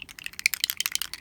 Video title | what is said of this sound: JTV Vintaj DIY Painted Pendant Craft Supplies Mail | So you shake it up. I saw her shake it up on air. You can hear there's something in there.